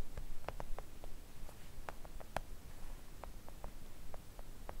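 Long acrylic nails tap with both hands on a flat, thin, solid pink silicone nail art mat. The result is a string of soft, dry, short clicks at an uneven pace, with no ring, over a quiet low rumble.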